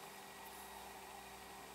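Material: Nothing is struck.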